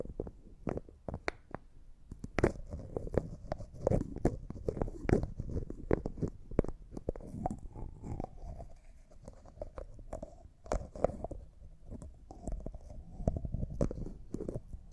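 Fingertips and short manicured nails tap and twist the white plastic lid of a small, hollow, clear cosmetic jar that looks like glass and appears empty. A rapid, uneven run of soft, dry taps and clicks, weighted toward the low end with no ring after each hit, mixes with brief scraping and twisting sounds from the lid.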